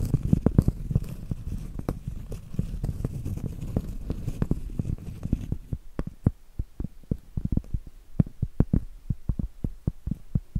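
A large, round, solid cork board is held upright while long acrylic nails scratch and tap across its face. For the first half, dense, low, rustling scratches are mixed with soft taps. After that, the sound turns to separate short, dull taps with quick, clicky tops that die away at once.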